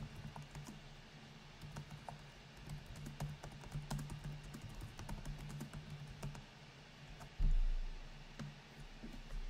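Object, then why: Laptop keyboard with plastic keys. Both hands type with their fingertips on the black plastic keys of a silver laptop with a metal-look palm rest, resting on a granite counter, with an untouched microphone standing behind. Quick, repeated light taps and clicks sound over a steady low hum. A sudden louder low swell rises near the end and slowly fades.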